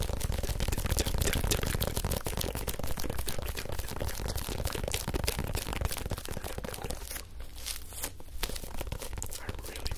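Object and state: Rubber toy football.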